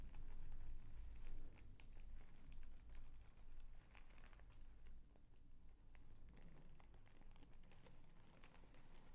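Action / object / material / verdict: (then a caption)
scrape / thin tissue paper sheet / tissue paper / none. Fingertips unfold and lift a folded sheet of thin mint green tissue paper. The result is a steady run of soft crinkles and small crisp rustles over a low, deep hum. The crinkles are louder at the start and ease off toward the end.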